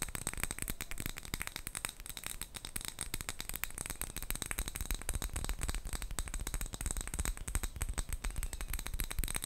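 A small clear glass jar with a gold metal lid, full of colourful wrapped sweets, is held and tapped and scratched with long nails. Rapid, irregular clicks and scratches sound close up, with the wrapped sweets rattling inside throughout.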